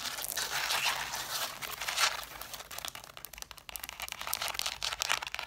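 Long black nails tap and scratch across the covers and spines of a stack of red cloth-bound hardcover books. The sound is bright, dry and crinkly, a dense run of quick taps and raspy scratches with almost no low end and no ring after each touch. It swells and dips in loudness, with a brief quieter stretch near the middle.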